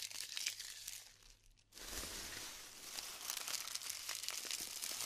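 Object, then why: Glued styrofoam bead clusters. Hands press into glued styrofoam bead clusters and crush them, giving dense, bright crinkling and crackling with scattered sharp snaps and pops. The crackle thins to a brief near-silent pause partway through, then resumes steadily until the end.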